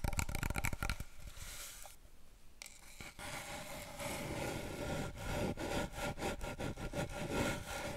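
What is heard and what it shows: Fingertips and long nails rapidly tap a long, hollow, brown cardboard paper roll tube, held diagonally and then horizontally. The quick, uneven taps give short hollow low thuds with bright clicky nail edges. They ease into a quieter scratchy stretch before picking back up into dense tapping.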